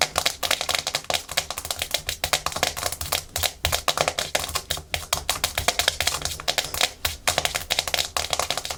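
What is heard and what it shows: Natural fingernails tap fast and aggressively on a hard plastic surface, with scratching, in a no-talking ASMR clip. The sharp, bright clicks come in a rapid, uneven stream, like fast typing, each dying out almost at once.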